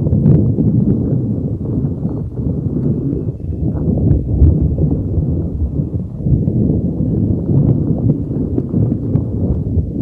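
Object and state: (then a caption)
Rubber spiky ball. A neon green soft rubber spiky puffer ball is rubbed and squeezed with fingers over a microphone. It makes a steady, dense stream of muffled, low rubbing and thumping with short soft bumps and almost no high sound throughout.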